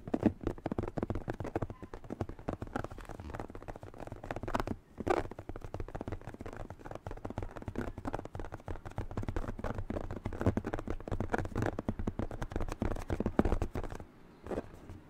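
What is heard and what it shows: A light blue latex glove, inflated with air and held in both hands, is tapped, squeezed and rubbed by fingertips across its stretched, hollow rubber surface. The result is a dense run of soft, dull taps and rubbery squeaks and crackles, mostly low and thumpy. The sounds continue steadily with brief pauses near the middle and the end.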